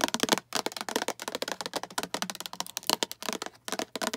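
Long acrylic nails tap and scratch a hollow, empty-looking translucent green plastic food storage container with a diamond pattern and clip lid. The result is a rapid run of sharp, bright plastic clicks and scrapes with very little ring, broken by brief pauses.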